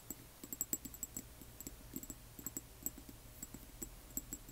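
Long nails tap and scratch a small frosted amber glass serum dropper bottle with liquid inside and a paper label, then tilt it. About twenty-one quick, quiet clicks each give a short, bright glassy ping over a low, steady hum.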